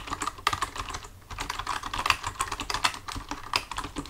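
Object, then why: Plastic computer keyboard. Both hands type with their fingertips on a full-size black plastic computer keyboard resting on a desk. A quick, uneven stream of short, bright plastic key clicks is heard, each dying away almost at once, with a brief lull about a second in before the typing picks up again.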